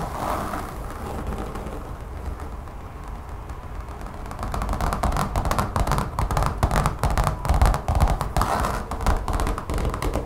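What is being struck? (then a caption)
Textured rubber mat. Long fingernails scratch and tap quickly on a large brown textured rubber mat lying on a table. A softer, steady scratching runs for the first few seconds, then gives way to louder, rapid, uneven taps. The taps are dull, low thuds that stop short with almost no ring.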